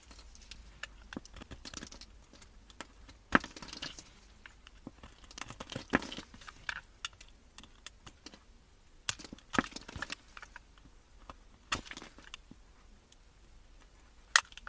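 A metal blade cuts small cubes off a solid cream-colored bar of soap that is pre-scored into a grid and held in gloved hands. Soft, dry crumbling and crinkly scraping run throughout, broken by sharp, bright cracks as pieces snap free. The sound is quiet and close, with almost no low end and no ring after each crack.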